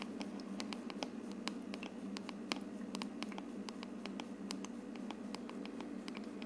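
Long red nails tap rapidly on the translucent dome of a running hollow plastic aroma diffuser that gives off mist and a color-changing light. Short, sharp, bright clicks come in quick succession over a steady low hum from the diffuser.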